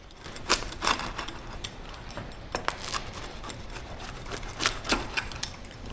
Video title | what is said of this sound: How to Make Easy No-Fail Sourdough Pizza Dough - Recipe for Beginners | Can you hear how crispy this crust is?